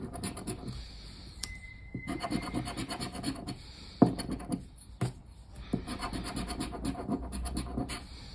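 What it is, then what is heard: Paper lottery scratch card being scratched. A hand scratches the remaining coating off a thin cardboard paper lottery scratch-off ticket lying flat on a wooden table, using the edge of a black plastic disc. Soft, low, gritty rubbing comes in uneven bursts, with a few sharper clicks as the disc strikes the card.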